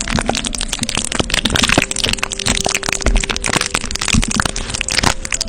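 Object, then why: Plastic adhesive tape over a metal microphone grille. Fingertips and short nails scratch and rub clear plastic tape wrapped around the hollow metal mesh grille of a silver condenser microphone. Dense, crackly scratching and crinkling runs throughout at a steady level, with a faint low hum and brief tonal lines underneath.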